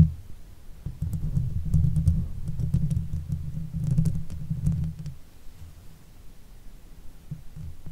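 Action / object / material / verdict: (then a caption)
scrape / metal mesh microphone grille / metal mesh / none. Long fake nails scratch the top of a silver Blue Yeti microphone's hollow metal mesh head, then both hands scratch the sides of the grille. The result is a dense, low rumbling scrape broken by quick, faint bright ticks, swelling and fading in uneven bursts before it thins out near the end.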